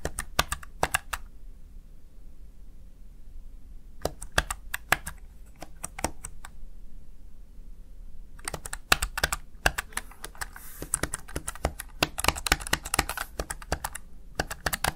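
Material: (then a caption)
Plastic. Fingertips and long nails tap the keys of a small, hollow, backlit plastic Razer Tartarus Chroma gaming keypad. Bursts of sharp, bright clicking come in three runs, with quiet gaps between them. The last run, from about 8.5 seconds on, is the densest and fastest.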